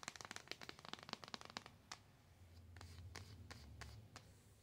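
Long nails tap and scratch a flat, rectangular, white-and-gold printed cardboard box (In My Element) that holds an eyeshadow palette. A quick run of sharp, bright taps with very short decay gives way to sparser clicks over a soft scratching hiss and a faint low rumble.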